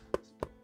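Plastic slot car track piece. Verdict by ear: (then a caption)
Dull. A flexible Scalextric plastic slot car track piece is tapped three times, giving three short, dull thuds with very little ring. The thuds sit mostly in the low-mid range over a quiet background.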